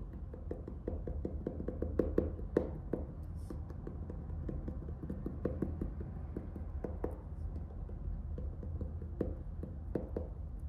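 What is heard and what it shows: A medium orange faux-leather hardcover notebook, closed and still in its plastic shrink wrap with a paper label band, is held in one hand while the fingertips of the other hand tap and scratch the cover and band. The result is a steady stream of quick, soft, dull taps mixed with light crinkly scratching, each tap dying away almost instantly over a low, muffled background.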